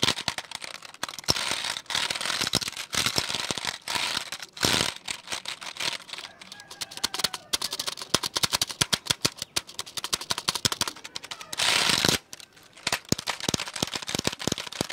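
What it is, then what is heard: Plastic computer keyboard tapped. Fingertips tap and drum on the keys of a hollow black plastic computer keyboard held at an angle. The result is a dense stream of quick, dry, bright clicks with almost no ring or low end, broken by brief bursts of faster, louder drumming around the 4.7-second and 12-second marks.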